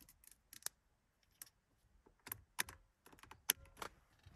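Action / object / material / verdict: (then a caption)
tap / plastic wiper control stalk / plastic / none. Long acrylic nails tap and scratch the long, thin, black plastic multifunction wiper and indicator stalk, seemingly hollow, on the steering column of a classic Mercedes 200. About eight quiet, sharp, bright clicks stand out at irregular intervals among softer scratchy rustles, each dying away almost instantly.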